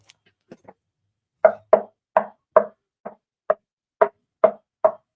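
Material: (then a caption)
Wood. Knuckle-style knocks on an internally braced subwoofer enclosure with a passive radiator tuned to 32 Hz. The box is 20 in wide, 10.5 in high and 13 in deep, with a cut-out brace between the X braces so it won't rattle. A few faint taps are followed by nine sharp, dry knocks with a short midrange thud and almost no ring, showing the box is rigid and dead, with no hollow sound or resonance.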